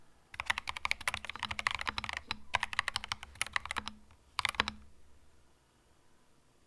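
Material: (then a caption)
Plastic. A compact cream mechanical keyboard with plastic keycaps is typed on slowly with the fingertips, giving bright, crisp clacks that die away almost instantly. The keystrokes come in steady runs with a brief pause near the middle, then a final short burst before the clip falls quiet.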